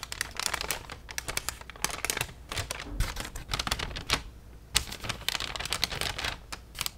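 A white, thin plastic shopping bag with an orange logo is held up and rapidly tapped and crinkled with long nails. The result is a dense run of sharp, bright clicks and crisp crinkles with no lingering ring, some bursts louder than others, over a faint low background rumble.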